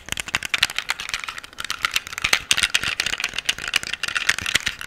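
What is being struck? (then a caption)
Metal handgun. A solid black metal pistol, held upright close to the microphone, is tapped and scratched on its grip and slide by nails and fingertips, with the gun's parts rattling. The sound is a rapid run of short, bright clicks and taps that die away almost at once, with a scratchy texture between them and almost no low end.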